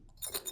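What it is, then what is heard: Loose metal taps on clogging shoes rattling. Loose metal taps fitted on clogging shoes rattle as they are shaken, giving a brief, bright, jangling metallic clatter with very little low end. The rattle is unwanted; flat taps are preferred because they give a single sudden tap on the floor instead.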